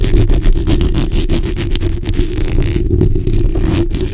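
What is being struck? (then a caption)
Metal mesh microphone grille. The backs of long nails and fingers scratch and rub a black hollow metal mesh microphone head. The result is a steady, dense run of quick scraping strokes that sounds like deep, rumbling, boomy friction, with faint brighter scratchy flicks on top. It stays at a fairly constant loud level throughout.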